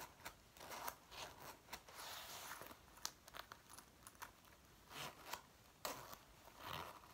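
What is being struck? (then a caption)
Synthetic leather jacket. Long painted nails and fingertips scratch and rub the front and waist of a worn dark brown faux leather jacket, whose soft, thin synthetic leather lies over the body. The result is quiet, crinkly, bright scratching in irregular bursts of rubbing and sharp little scrapes.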